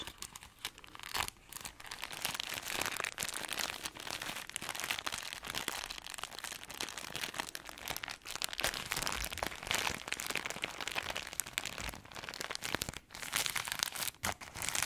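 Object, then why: Pack of crispbread in thin plastic wrap. Long acrylic nails scratch and tap the crinkly clear plastic wrap on a pack of dry crispbread crackers. The result is a dense, bright crinkling and crackling with sharp little taps, nearly continuous with brief quiet dips around 1, 8 and 13 seconds, and almost no low end.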